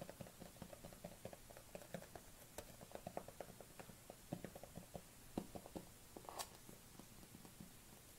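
A dark plastic collagen supplement tub with a white label is held and turned in the hands while long nails tap along its side and lid. The result is a quiet, steady run of quick, dry clicks and taps that die away almost at once, with a few brighter, sharper ticks standing out.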